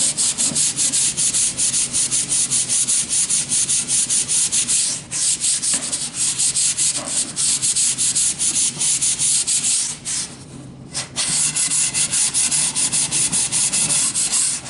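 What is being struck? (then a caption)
Wooden board. A sanding sponge is stroked by hand along a long solid wooden plank, producing a steady run of bright, hissing rasps in quick back-and-forth rhythm. The scratchy texture stays mostly high with little low end, and there is a brief quieter pause just after the ten-second mark before the sanding resumes.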